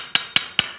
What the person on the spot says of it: ich klopfe da mal gegen, dass Sie es hören. Das ist Metall.